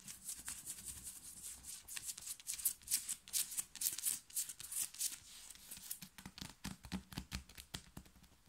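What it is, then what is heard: Cotton t-shirt fabric scratched. Long fingernails on both hands scratch and rub fast and hard across a black printed cotton t-shirt worn on the body, its fabric soft. The result is a dense run of quick, dry, bright scratching strokes with a faint low rumble beneath, each stroke stopping short with almost no ring.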